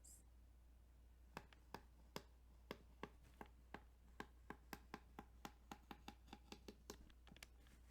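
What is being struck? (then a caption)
Plastic game cartridge. A plastic Tetris Game Boy cartridge is tapped and scratched along its ridges. A steady series of short, dry, crisp ticks is heard over a faint, constant low hum, with no ringing between them.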